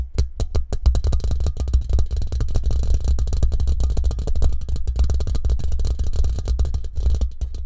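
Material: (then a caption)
Steel mesh. Fingertips and short nails from both hands tap quickly on the hollow, rounded steel mesh grille and metal band of a condenser microphone in a shock mount. The result is a rapid, continuous stream of short, deep, boomy thuds with a faint bright clicky edge. Each hit dies away almost instantly.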